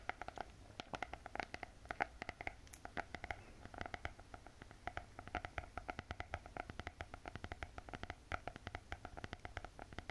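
Long painted fingernails tap rapidly on the glossy hard cardboard cover of a closed spiral notebook. The result is a dense, steady stream of short, dry clicks with no ring, centered in the mid range over a faint low rumble.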